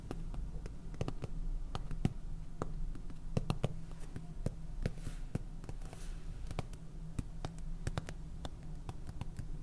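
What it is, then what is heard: Plastic salt container. Fingernails tap and scratch a small clear plastic jar full of white salt with a purple lid, producing a rapid series of sharp, dry, bright clicks that die away instantly. Beneath the taps runs a steady low hum.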